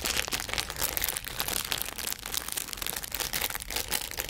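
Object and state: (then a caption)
Plastic film toy package. A small, colourful, printed plastic-film bag holding a squeeze toy is handled and crinkled with the fingers in front of a binaural microphone. Dense, bright crinkling and crackling fills the whole clip in quick overlapping bursts, with almost no low end and no ringing after each crackle.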